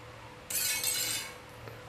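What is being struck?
Ceramic tile.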